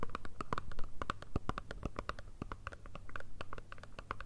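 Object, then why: Small cardboard box with foil side. Long red nails rapidly tap and scratch a small, hollow, rectangular black Chanel cardboard perfume box with a foil side. The result is a quick, irregular run of short, dry clicks with a hollow low thump beneath, each tap dying away almost at once.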